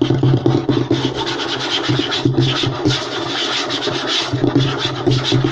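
Short nails of both hands scratch fast across a flat, light wooden tabletop. The result is a continuous dry, rasping scratch with a low hum underneath, a bright grainy edge on top, and frequent small bursts of emphasis.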